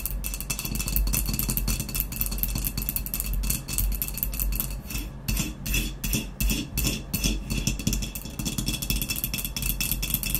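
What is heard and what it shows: Long nails rapidly tap and scratch the blue speckled glaze near the open neck of a hollow, empty ceramic vase lying on its side. The result is a dense, continuous stream of bright clicks and scrapes over a low hollow resonance, with short rings that fade quickly.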